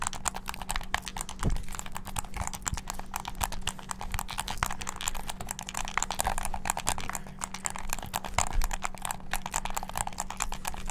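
A hollow black plastic game controller with a string tied around it has its buttons clicked rapidly by thumbs and fingertips. The result is a fast, dense, continuous stream of short, dry plastic clicks with bright, crisp tops that die away almost instantly. A faint steady low hum sits underneath the clicking throughout.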